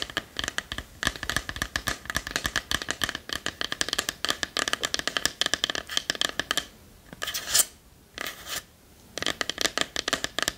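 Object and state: Wooden box tapped and scratched with nails.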